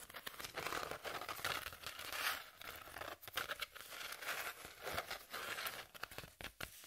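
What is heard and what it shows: Long nails scratch along the exposed ribbed inner layer of a hand-sized corrugated cardboard sheet held upright. The result is a steady run of dry, rasping, crinkly scrapes in short uneven bursts, bright and papery with almost no low end.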